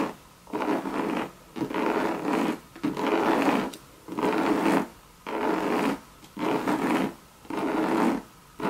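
Long red nails scratch and rub the hollow monogram coated canvas of a Louis Vuitton bucket bag. Repeated raspy strokes of about a second each come at a steady pace, separated by short pauses. The sound sits mostly in the low-mid to mid range, with a faint hum underneath.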